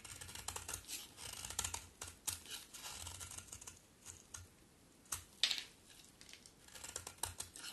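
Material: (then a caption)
Soap. A solid pink bar of soap is carved and scraped with a utility knife blade by long-nailed hands. Quick, bright, crisp scraping and cutting strokes come in irregular bursts over a faint low hum, with one sharper, louder cut near the middle.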